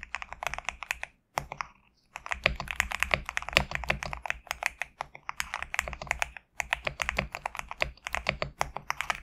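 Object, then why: Mechanical keyboard with PBT plastic keycaps. Fingertips type rapidly on a compact GMK67 mechanical keyboard with PBT plastic keycaps, producing a dense run of short, crisp, bright keystroke clicks centered around 2.4 kHz. Each stroke dies away almost instantly. Brief pauses break the typing near the start and again around the six-and-a-half-second mark, over a faint low hum.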